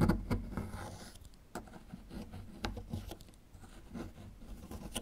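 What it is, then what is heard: Plaster excavation block being scraped. A small metal chisel tool scrapes and picks at a small, solid plaster fossil excavation block near the dinosaur relief. Irregular dry scratches and sharp, brief ticks come in uneven bursts, with a low, gritty body and almost no ring.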